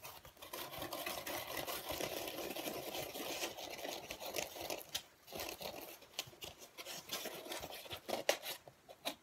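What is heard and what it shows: Fingers quickly tap and scratch a flat black foam packing insert with slots, dark grey in color and held in both hands. A dense, bright, hissy scratching fills the first five seconds, then gives way to scattered short, dry taps and scrapes with almost no low end.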